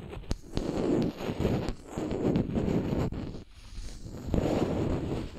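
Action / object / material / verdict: tap / wooden makeup brush handle / wood / none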